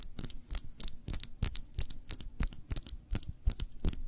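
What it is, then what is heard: Glass jam jar tapped with fingernails. Long nails tap rapidly on a small glass jar full of cranberry jam, held cupped in both hands. About twenty quick, dry clicks follow one another over four seconds, each with a bright, high glassy tick and a soft low knock, with almost no ring between taps.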